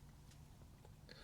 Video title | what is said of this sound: Just Released! - Gear Infusion’s GhostTi: Ultra-Thin Titanium Utility Knife | there's absolutely no way to make this rattle it is quiet it does not make a noise